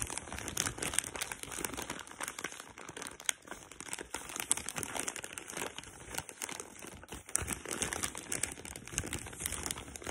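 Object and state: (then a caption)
Plastic packaging bag. Long pink nails scratch and pinch the thin plastic of a black printed tealight packaging bag full of tealights. The result is a steady, dense crinkling and scratching with many quick, bright rustles and no clear pauses.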